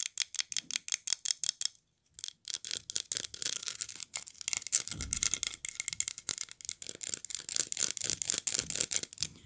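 A glazed ceramic polar bear figurine is held on its side while its base and body are tapped and scratched with long nails. Quick, dry, bright clicks come in a steady run, stop briefly, then return as denser tapping mixed with faint scratching, with almost no low end and no ring after each hit.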